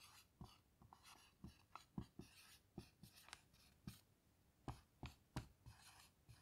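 A hand writes words with a black dry-erase marker on a small, flat dry-erase whiteboard with a plastic frame and a grid-textured surface, lying on a table. The marker tip glides and scratches across the board in quiet, uneven strokes. Short, soft taps punctuate the strokes, with brief bright squeaks.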